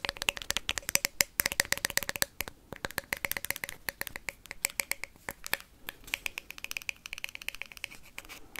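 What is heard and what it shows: A hollow plastic ping pong ball is tapped and scratched quickly with paperclips. The result is a fast, irregular stream of sharp, bright clicks and ticks with a light hollow ping near 2 kHz, each dying away almost instantly, with little low end.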